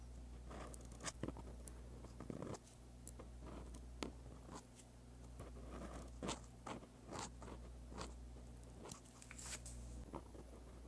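A dark-bodied pen with a metal tip scratches across a flat sheet of white lined paper while writing Korean script. Short, bright scratchy strokes and light taps come in quick irregular bursts, over a steady low hum.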